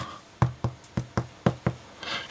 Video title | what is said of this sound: Baking a "Pain Complet" from Lidl | it sounds hollow so it's very well